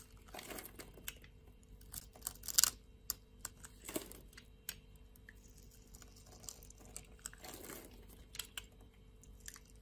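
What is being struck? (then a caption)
Bar of soap cut with a blade. A utility knife blade carves a grid into a solid pink bar of soap held in the palm and shaves thin flakes off its surface. Crisp, bright scraping and crackly cutting sounds come in short bursts, with a few sharper snaps standing out over a quiet background.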